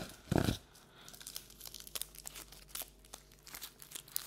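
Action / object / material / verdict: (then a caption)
tap / paperboard treat bucket / paperboard / none. A hollow, empty paperboard Halloween treat bucket is turned in the hands while long nails tap and scratch its outer surface. A dull, low thump opens the clip, followed by a steady stream of quiet, crisp ticks and dry scratching with bright edges.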